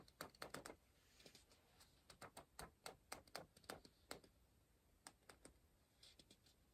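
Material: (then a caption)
Paper. An orange pencil scratches and taps on the printed page of an open paper word search puzzle book, making quiet, sharp, bright ticks in irregular bursts with short faint scratching between them. The pencil then lifts away from the page at the end.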